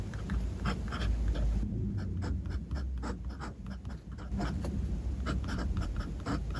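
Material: Paper.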